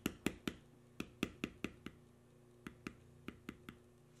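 A steel beveler held in the fingers is tapped along a carved spiral in a solid tan veg-tan leather panel carved with knotwork. Thirteen short, sharp taps land in two uneven runs separated by a brief pause, each a dry knock with a bright click on top that dies away almost at once. A faint steady low hum sits underneath.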